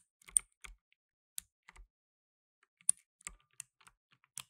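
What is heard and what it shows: Fingertips in blue nitrile gloves rapidly press the plastic keycaps of a black plastic tenkeyless mechanical keyboard. The typing comes as a quiet, uneven string of sharp, bright clicks, some with a soft low thud beneath. Each click stops instantly with no ring, leaving short silences between the bursts.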